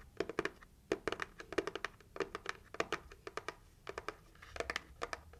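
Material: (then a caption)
Cardboard. Long acrylic nails tap quickly on the lid of a closed, hollow, red heart-shaped cardboard gift box. The result is a rapid, uneven series of short, dry clicks with a hollow, papery body around 400 Hz and a bright tip, each dying away almost instantly.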